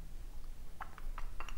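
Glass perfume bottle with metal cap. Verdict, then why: Loose. A 75 ml glass perfume bottle with a rose-gold metal cap is shaken, and something loose inside rattles in six short, dry clicks against a low background hum. The clicks grow brighter and closer together toward the end. The rattle is unwanted, and its cause is unknown.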